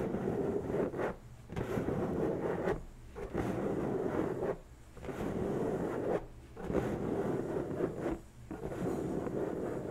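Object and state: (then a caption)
Latex balloon being scratched. Long bare natural nails scratch and rub the surface of an inflated, hollow, pink latex balloon about the size of a head, resting on a table. Six sustained, rasping squeaks with a low-mid tone are heard, each separated by a brief quieter pause.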